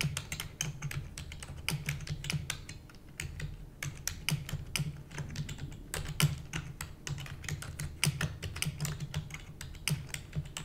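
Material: Plastic.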